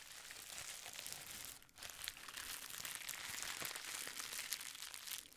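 A small folded plastic bubble wrap pad is held in both hands while fingertips scratch and squeeze it. The result is a steady, bright, dense crinkling and crackling with little low end, broken by a brief quiet dip partway through before the rustling picks back up.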